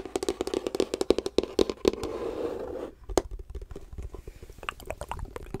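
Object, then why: Wooden folding chess box. Long nails tap and scratch the wooden sides and checkered wooden top of a closed, hollow folding chess box with a light wood frame, held upright. A run of quick, hollow knocks with a woody mid-pitched ring gives way to a steady scratching stroke. A single sharp tap follows, then softer, lighter taps and scratches to the end.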